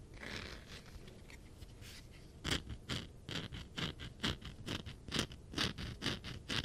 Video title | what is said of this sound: Tapping and scratching on my funko pops! ASMR ~ Yeah it's mostly sonic ones. | This one definitely has a very different sound because of the texture.